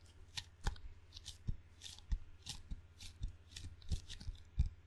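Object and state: Rubber-faced wooden table tennis paddle.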